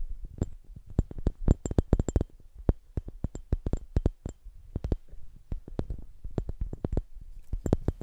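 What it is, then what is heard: Clear glass ornament ball. A hollow, empty, hand-sized clear glass Christmas ornament ball with a string loop is held in both hands and tapped and rubbed with the fingertips. Many quick, dry taps follow one another irregularly over a soft, low rubbing bed. Each tap is short with almost no ring, and faint bright glassy glints show through.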